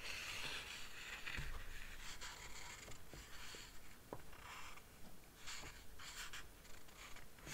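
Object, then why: Large illustrated paper book. Fingertips with dark-painted nails slide over and rub the paper pages of a large illustrated Harry Potter book lying open, then turn a page. Soft, breathy swishes of bright paper friction rise and fall with a few faint low taps. The whole clip stays quiet and close.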